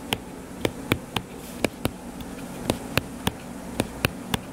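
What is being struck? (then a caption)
Hardcover paper book. Fingertips tap quickly on the cover of a closed, solid hardcover paper book lying flat, making about a dozen short, sharp, dry taps with a bright click and almost no ring. A steady low hum sits underneath the taps.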